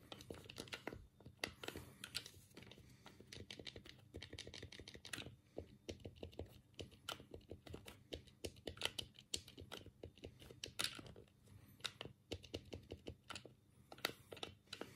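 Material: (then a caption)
Plastic. A black, hollow plastic Sega Mega Drive 3-button game pad is held in both hands while the thumbs click the D-pad and buttons. The result is a steady stream of quick, dry, bright plastic clicks and taps with almost no ring, varying in loudness.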